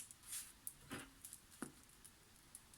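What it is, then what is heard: Crisp crust on freshly baked bread. Freshly baked mini olive baguettes, cooked at 190–200 °C for 15–20 minutes, are handled right after coming out of the oven. Their crust gives off quiet, scattered crackles and light crunchy ticks. The crackling shows the crust is crisp and properly baked.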